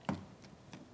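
Tapping the underside of a freshly baked wholegrain spelt fruit and nut loaf gives three short, hollow knocks, the first strongest, with a low thud around 190 Hz that dies away almost at once. The hollow sound shows the loaf is baked through.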